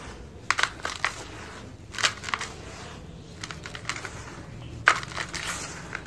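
Bare fingertips and palms scoop, squeeze and crumble loose, dry red-brown soil with small pebbles and clumps heaped in a large white bowl, letting handfuls fall back into the pile. Sharp, bright gritty crunches and crackles come in bursts over a low, steady rustle, with the loudest crushes near the start, middle and end.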